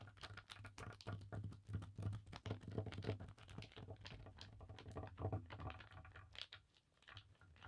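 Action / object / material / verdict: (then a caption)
scrape / cotton bandana on a table / cotton / none. Fingertips and long nails rapidly scratch and rub a thin navy blue paisley cotton bandana laid flat on a table. The result is a quick, irregular patter of soft, dry scratches and taps that swells and fades, with a steady low hum underneath.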